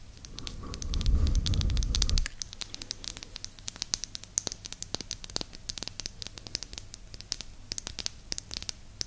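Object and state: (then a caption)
Wooden disc tapped with nails. Long nails scratch and tap a small, flat, round, solid light-wood disc held near an ear microphone. A loud, rough scratching rush with low rumble fills the first two seconds, then gives way to quick, dry, bright taps and clicks scattered irregularly over a quiet background.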